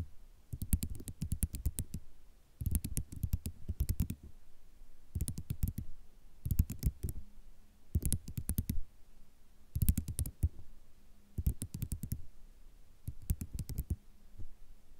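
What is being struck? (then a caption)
Ceramic mosaic tile sheet tapped with long nails. Long rhinestone nails tap and scratch across a white ceramic mosaic tile sheet of small solid tiles, producing about eight bursts of rapid, crisp clicking over 15 seconds. Each burst is a quick flurry of short, dry taps that die away at once, separated by brief quiet pauses with a faint low hum underneath.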